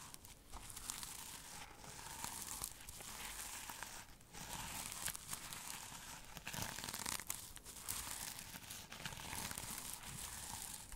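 Fingernails scratch and brush across a flat rectangular pouch or cover covered in reversible black and silver sequins. The result is a steady, quiet, bright crinkling and rustling texture with dense overlapping scratches and small surges in intensity throughout.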